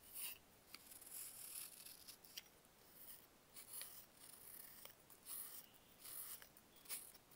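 A box-cutter blade carves a solid, dried baking soda block into slabs. It makes a series of short, quiet, bright, dry scraping crunches with sharp crackling snaps, separated by soft hiss.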